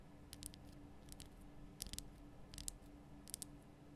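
Long nails tap on the sides of a large, lit pink Himalayan rock-salt lamp, a solid rough crystal block, making about nine quiet, short, bright clicks in loose pairs. A faint low hum holds steady underneath.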